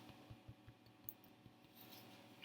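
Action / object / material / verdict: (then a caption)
tap / bread roll / bread / hollow. A freshly baked bread roll, just taken from the oven, is tapped three times on its bottom, giving short, dull, hollow-sounding knocks with a low thud and almost no ring. The hollow sound shows the roll is baked through and done.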